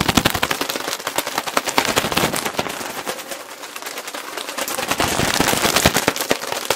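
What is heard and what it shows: A large clear plastic bag full of cotton balls, with a green logo, is squeezed and crinkled with both hands close to the mic. Dense, rapid, bright crackles snap continuously, easing slightly midway before building back up to sharp, fast bursts.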